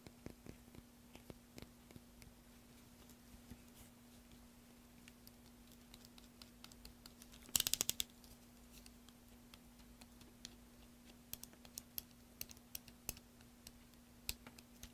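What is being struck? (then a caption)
Bar of soap cut with a small metal knife. A solid green soap bar held in one hand is carved with a small metal knife over a tray of shavings. Quiet, sparse, crisp scraping ticks and cuts are heard, with a tight burst of bright cutting sounds just before the midpoint and scattered sharp snips afterward. A steady low hum runs underneath throughout.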